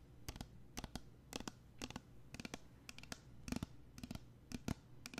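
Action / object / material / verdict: tap / small plastic spray bottle / plastic / none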